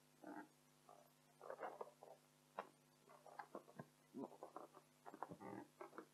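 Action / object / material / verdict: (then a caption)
scrape / inflated latex balloon / latex / none. Long acrylic nails rapidly scratch and tap an inflated, hollow, air-filled pink latex balloon while hands cup it. About eleven short, scratchy, squeaky bursts stand out over a faint, steady low hum, centered in the midrange near 1 kHz with little high or low content. Each burst stops almost instantly.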